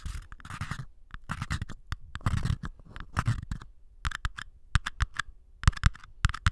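Small empty paper cups, first one and then two identical ones, are tapped and scratched with nails and fingertips. Soft, low scratching passages alternate with quick, dry taps that fall into rapid bursts of many sharp clicks with almost no ring.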